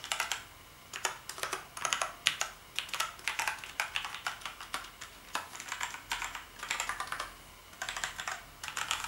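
Fingertips press and tap the keys of a full-size black plastic gaming keyboard with backlit keys, lying on a striped bedsheet. Quick bursts of bright, dry clicks and clacks come in uneven typing runs with short pauses, each click dying away almost instantly with next to no low end.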